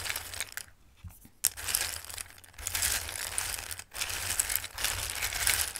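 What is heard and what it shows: Fingertips with long nails rub, shuffle and scoop through a bowl of raw, dried Christmas pasta shapes. The result is a bright, crisp rustling and clattering, made of dense bursts of tiny ticks separated by a few short pauses.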